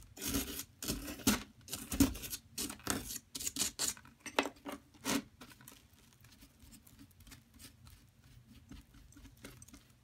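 A mint-handled metal digging tool scrapes and digs into a solid yellow plaster block held with long nails, with chips falling onto the crumb pile. Irregular bursts of bright, gritty rasping come strongly through the first five seconds, then fade into softer, quieter scratching for the rest of the clip.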